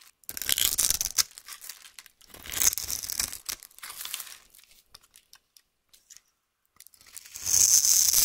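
A metal knife blade cuts and scrapes the scored surface of a solid rectangular white bar soap held in one hand with long painted nails, shaving it into crumbly cubes. Bursts of bright, crisp scraping and crumbling come in uneven strokes, thin out into sparse small ticks in the middle, then return as a loud, sustained hissing scrape at the end.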